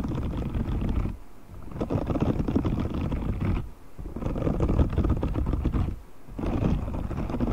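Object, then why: Silicone scrubber glove with short bristles. A grey, hand-sized silicone cleaning glove with dense short spiky bristles, thin and flexible, is held up away from the mic while fingertips scratch and flick across the bristles. It makes a dense, low, crackly rustling in bursts, with brief quieter pauses between them.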